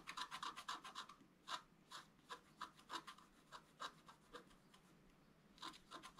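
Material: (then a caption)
Coated paper. A wooden stylus scrapes strokes along a gate outline on a flat black coated scratch art paper board. The result is a quick, irregular series of short, dry rasping scratches with a midrange bite around 1 kHz and a bright, hissy top. Rapid clusters of strokes are separated by brief pauses.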